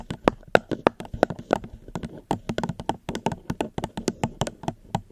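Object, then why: Plastic cup. A plastic cup is tapped gently and quickly close to the microphone, making a dense run of short, dry taps with a hollow midrange tone and bright clicky tops. The taps fall in an uneven rhythm and die away almost instantly, with no ring.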